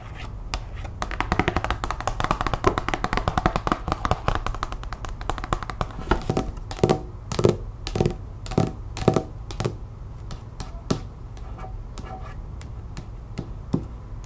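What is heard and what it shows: Long nails tap quickly on a thin cardstock art print card, first held up and then laid on a wooden table. The taps are dry, short clicks with a soft low thump, dense and uneven at first, then sparser and spread out toward the end.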